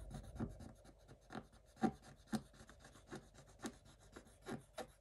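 A wooden stick held in a hand scrapes the black coating off a scratch-art page in a spiral notebook. Short, dry rasping scratches repeat about twice a second at an uneven pace, each stroke quiet and fading almost at once.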